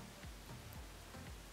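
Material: Nothing is struck.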